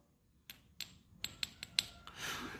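A coin believed to be a gold coin worth millions, actually a silver Guangdong dragon silver dollar, is tapped gently. Six short, bright metallic clicks with a high ringing tone are heard, followed by a brief hiss. The sound shows the coin is not gold but silver.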